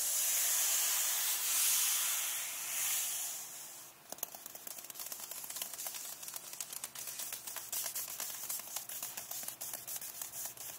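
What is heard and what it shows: Long nails scratch and tap the glossy card back cover of a closed paperback book lying flat, back cover up. The first four seconds are a steady, bright, hissing scratch; then it shifts to quick, fairly regular clicking taps mixed with lighter scratching, all sharp and high-pitched.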